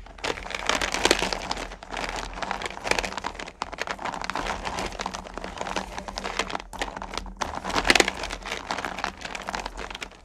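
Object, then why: Small hard candy pieces in a plastic bucket. Hands with long nails stir and rake small solid candy-corn pumpkins in a purple plastic bucket. A dense, continuous rattling and clicking with a bright, crinkly edge rises in louder surges as the candies shift and tumble against each other and the plastic, over a faint steady low hum.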